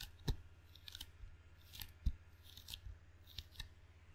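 Fingertips tap on and pull away from the red sticky rubber facing of a table tennis paddle with a solid wooden blade, held in both hands. Soft, irregular tacky taps and peeling sounds come with short, bright crackles, and two stronger low thumps stand out. A steady low hum sits underneath throughout.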